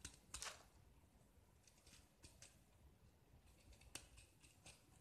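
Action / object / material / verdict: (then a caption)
scrape / gypsum brick scraped with a metal blade / gypsum / none. A small solid gypsum block with a red painted grid coating is held in one hand while a metal utility-knife blade scrapes and carves its white interior into curled shavings. The result is quiet, bright, dry scraping strokes, with louder crisp bursts near the start and around the four-second mark. Each stroke dies away almost immediately over a soft, hissy background.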